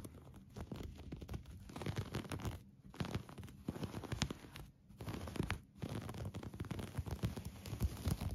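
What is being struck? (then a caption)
Crocheted yarn blanket. Fingertips and short nails, with a metal bangle on the wrist, scratch a colorful granny-stitch crochet yarn blanket that lies soft and flat on a couch beside an orange pillow. The result is a dense, muffled, low-weighted rustling scratch that runs steadily, broken by a few brief pauses.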